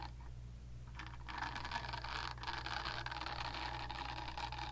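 Long nails tap and scratch the smooth back of a pink silicone facial cleansing brush pad held close to a microphone. After about a second of faint, steady low hum, a dense, bright scratching rustle sets in and continues at an even level through the end, with a tonal edge near 950 Hz.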